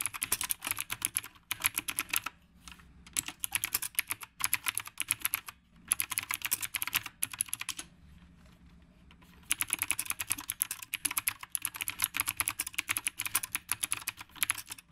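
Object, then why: Mechanical keyboard with round plastic keycaps. Both hands type with their fingertips on the round plastic keycaps of a retro typewriter-style mechanical keyboard. The result is bursts of sharp, bright clicks in rapid runs, broken by brief pauses.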